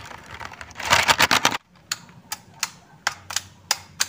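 Fingertips with short nails tap and press the keys of a black plastic A4Tech full-size keyboard with hollow key switches, one hand resting over the keys. A fast, dense burst of bright plastic clacks builds and then stops abruptly. Sparse single taps follow, each a short, crisp click with almost no ring.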